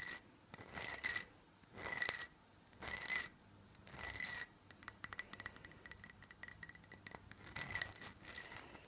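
Fingernails tap and scratch on a small, closed, cylindrical black glass perfume bottle. The first half brings four bursts of scratching with bright, glassy ringing, followed by rapid, uneven clicking taps with short, high chinks.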